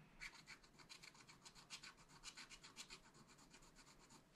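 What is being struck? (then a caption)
Coated scratch art paper and wooden stylus. A wooden stylus scratches the mug area of a black coated scratch art paper page in a spiral pad. A quiet, dry, bright rasping comes in a rapid, uneven series of short strokes.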